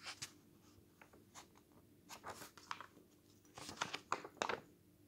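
Bare fingers flip the glossy thin pages of an open paper news magazine lying on a table, and a flat hand rubs and smooths the spread. The result is quiet, irregular bursts of crisp, bright paper swishes and rustles with soft scratchy brushing between them, each ending quickly.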